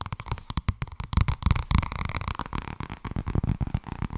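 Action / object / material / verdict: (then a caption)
tap / thin paperback book with a card cover / paper / none. A thin purple paperback book, held tilted, has its cover tapped and brushed quickly by nails and fingertips. The result is a rapid, uneven run of short, dull, low thuds with a soft brushing texture, and each tap dies away almost at once.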